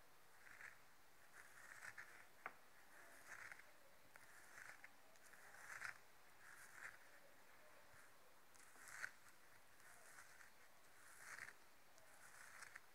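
Long nails scratch the fuzzy felt surface of a yellow felt-covered, hollow rubber tennis ball resting on a table. The result is a series of quiet, soft, raspy scratching bursts with a mid-range hiss and a faint bright edge, separated by brief pauses, with occasional sharper ticks.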